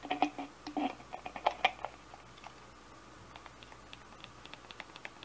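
Fingernails tap an empty, hollow pink plastic spray bottle held in the hands, striking both the bottle and its trigger head. Short, bright plastic clicks and taps come in uneven clusters, louder and more resonant with a hollow ring early on, then fading into lighter, scattered ticks.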